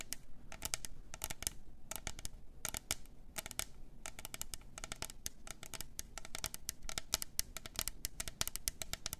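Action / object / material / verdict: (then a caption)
tap / double-walled plastic tumbler cup / plastic / none. Long nails scratch and tap the sides of a double-walled plastic glitter tumbler with a lid and straw. Rapid, quiet bursts of bright, clicky taps mix with dry scratching rasps over a low rumbling background. Each tap stops almost instantly with no ring.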